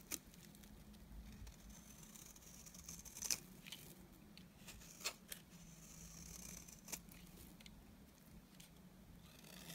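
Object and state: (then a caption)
Bar soap shaved with a blade. A utility knife blade shaves strands off a solid, dry, beige oval bar of soap. Quiet, bright, crisp scraping and slicing sounds come with a few sharp clicks over a steady low hum.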